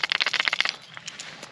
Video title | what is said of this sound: Bass Fishing Gear Review: New Rods, Crankbaits, Topwater, Worms! | it's loud that's not just me banging on it that's it rattling around inside there